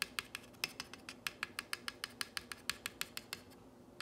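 Fingernails trace and scratch along the painted letters of a solid, whitewashed wooden plank sign reading "You make me happy." About 22 short, dry, bright ticks come in a quick, uneven rhythm over a faint scratchy hiss, with almost no low end and no ring. The ticks stop briefly, then one last tap closes the clip.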